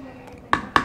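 Two sharp knocks on the solid ABS plastic rear stock of a GHK AUG gas-blowback airsoft rifle. Each knock is a short, dense tap with little ring and no hollow resonance, since the stock is solid with no space inside for a battery.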